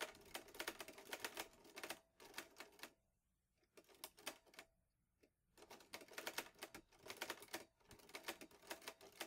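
Fingertips type steadily on the keys of a vintage teal metal Underwood Olivetti Lettera 22 portable typewriter with paper loaded. Rapid, bright, crisp clacks come in bursts, with two short quiet pauses between runs of typing.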